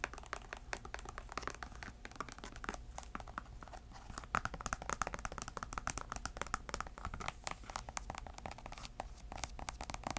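Long nails scratch along the canvas and the edge of the white rubber sole of a grey Sperry canvas shoe, held in hand, hollow and empty. Dense, dry scratching and crinkly rasps run steadily through the clip with many short, bright clicks that die away almost instantly.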